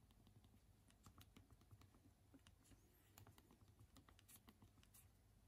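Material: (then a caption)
Plastic. Both thumbs type on the small hard plastic keys of a handheld BlackBerry phone's physical QWERTY keyboard, held in both hands. A quiet, steady run of short, dry clicks patters along over a low hum, with brief bright ticks.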